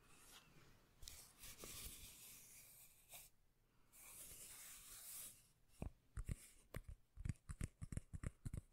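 Long painted nails scratch across the surface of a round, flat, solid, palm-sized cork lid held in one hand close to the mic, making a bright, rough rasping hiss for the first five seconds. The nails then tap the cork in a quick run of separate, sharp hits, each with a dull, low, bassy thump that dies away almost at once.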